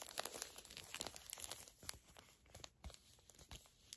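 A small, flat Garnier Fructis hair mask sachet of crinkly foil/plastic laminate, filled and soft, is held in both hands and crinkled and squeezed with long acrylic nails and fingertips. The result is a quiet, bright, dense crackling with quick sharp crinkles and taps, loudest early on and softening toward the end.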